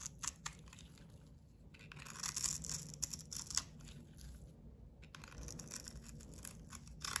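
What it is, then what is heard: Bar of soap being shaved. A metal utility blade shaves a solid bar of white soap with a white face and blue rim into thick curls. Soft, crisp scraping and crunching strokes come in uneven bursts, mostly bright and high with little low end. A few sharper scrapes stand out from the quiet, steady shaving.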